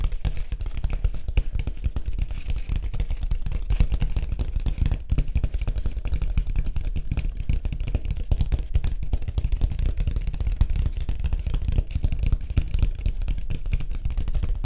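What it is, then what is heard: Surfboard. Fingertips tap rapidly on a white surfboard, making a continuous stream of short, dull thuds. The sound is deep, with almost all its energy in the low end, and each tap dies away almost at once.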